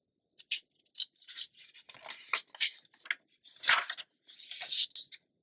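An open glossy paper magazine lies on a dark surface while a palm and fingertips with long nails smooth the pages flat and lift them to turn. Bright, crisp paper swishes and crinkles come in irregular bursts separated by short silences, with an occasional sharper slide of a page being turned.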